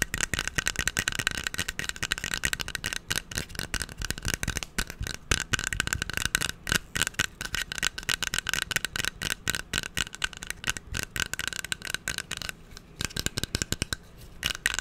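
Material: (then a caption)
Wood. A small, hand-sized hairbrush with a solid wooden back and a bristle pad has its wooden back tapped with fingertips and nails, then its bristles scratched. The sound is a fast, dense run of crisp, dry clicks and taps that end almost instantly. It shifts into a bright, scratchy rustle near the end.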